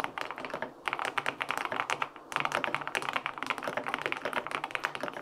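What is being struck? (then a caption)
Aluminum-case mechanical keyboard with plastic keycaps and linear switches. A LINK65 compact mechanical keyboard with a white aluminum case, pale pink plastic keycaps and linear switches, resting on a desk, is typed on with fingertips. It gives a quick, steady run of crisp, clacky key taps with a bright mid-range click and almost no low thump, broken by two short pauses. Each tap dies away almost at once.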